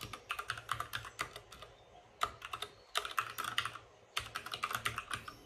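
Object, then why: Plastic mechanical keyboard. Both hands type continuously with the fingertips on a white plastic mechanical keyboard with RGB backlight. Quick, bright clicks and clacks come in three bursts separated by short pauses. Each keystroke dies away almost instantly, with little low end.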